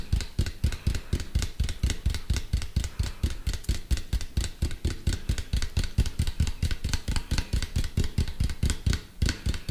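A medium-sized hollow white plastic cylinder, held upright close to the mic, is tapped with fingertips and nails in a quick, slightly uneven rhythm of about fifty taps. Each tap gives a deep, hollow thump with a faint bright click from the nails and dies away almost at once.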